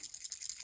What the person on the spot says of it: if you shake it you can hear a little ball bearing in there